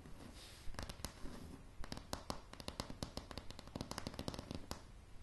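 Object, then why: Wooden plank floor tapped with fingernails. Long polished nails of both hands tap a light, solid wooden plank floor. About two dozen short, dry clicks land in an irregular, quickening rhythm, each with a dull low knock and a bright tick that dies away almost instantly over a soft background hiss.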